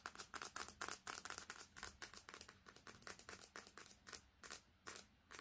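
Long red fingernails tap fast on the glass screen and metal edge of a smartphone with a metal back, held horizontally close by. About 33 short, bright clicks come in an uneven, rapid stream of roughly four per second, each dying away almost instantly with no ring.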